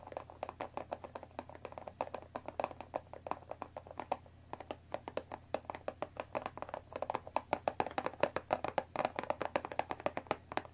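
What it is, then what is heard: Cardboard tea box. Long dark nails on both hands tap rapidly on the top of a closed Earl Grey tea box, made of thin printed cardboard, about 20 cm long and likely full of tea bags, resting on a wooden table. The steady stream of quick, dry, hollow taps centres around the mid-range near 580 Hz, with very little ring and a faint low hum underneath. The taps grow louder and denser toward the end.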